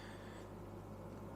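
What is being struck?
Nothing is struck.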